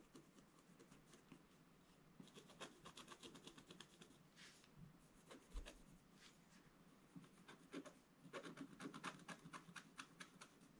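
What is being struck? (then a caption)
Scratch-art paper page scratched with a wooden stylus. A wooden scratch stylus scratches and rubs strokes into the black coating of a scratch-art page in a book lying flat on a table, a solid sheet. It makes quiet, dry, raspy scratches in irregular bursts, some short and clicky and some longer rubbing strokes, with bright high hiss over a faint low rumble.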